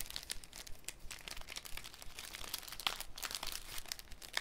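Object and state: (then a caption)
Cellophane sheet crinkling. A thin, clear cellophane sheet is folded and crinkled between fingers. It makes a steady stream of dense, bright crackles and sharp snaps that cut off almost instantly, over a faint low rumble.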